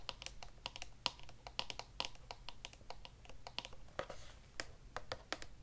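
Long nails tap along the flat side of a long, narrow, hollow grey cardboard wand box held in one hand. The result is a quick, irregular run of dry, bright clicks with a papery, hollow tone and almost no ring, over a low steady hum.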